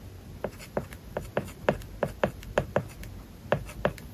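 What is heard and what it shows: A plastic stylus writes on an iPad screen covered with a matte, paper-like plastic film over the glass. Its strokes make a series of short, dry taps and light scratches, each one sharp with a midrange click and almost no ring. A faint hiss runs between them.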